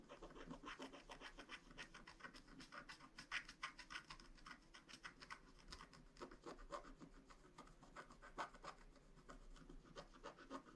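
A wooden stylus scratches a small star near the top edge of a flat, black wax-coated paper scratch art card. Rapid, uneven strokes produce dry, papery scraping with a bright, rasping edge. The short bursts come in quick succession, with no ringing between them.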